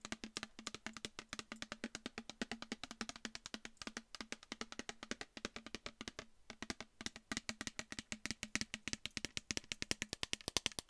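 Long nails tap rapidly and steadily on a mostly full, clear plastic micellar water bottle with a pink cap, held beside the mic. Each tap is a short, dry, bright click that dies away almost instantly, with a faint low steady tone underneath the quick, even stream of taps.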